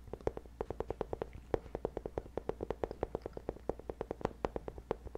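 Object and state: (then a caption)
Nylon fabric bag scratched. A medium black nylon fabric bag, hollow and held close to the microphone, is scratched with the fingertips across its padded fabric surface. About forty short, dry scratching strokes come in a quick, fairly even rhythm, each with a muffled midrange tone near 445 Hz and no ring. A faint steady low hum runs underneath.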